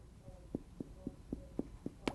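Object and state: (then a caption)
Hollow tympanic sound of puffed cheeks. Someone taps seven times on a puffed-up, air-filled cheek, giving short, hollow, drum-like thumps pitched around 270 Hz that die away almost at once. This hollow percussion note is tympany, the normal sound found mostly over the belly or bowel.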